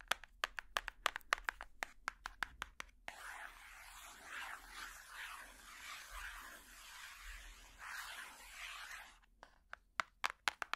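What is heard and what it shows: Plastic finger picks worn on the fingertips tap the flat back cover of a large hardcover picture book in a run of sharp, quick, dry clicks. A continuous, bright scratching texture with a soft hiss then rises and falls for about six seconds. The quick clicking taps return at the end.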